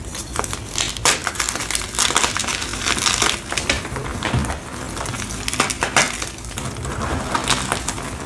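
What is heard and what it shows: A small, solid, fresh white block of gym chalk (magnesium carbonate) is squeezed, crushed and rubbed between the fingertips and palms of both hands over a bed of loose chalk powder. Dense, bright crunching and crackling rise and fall in quick bursts as the block crumbles while it is worked.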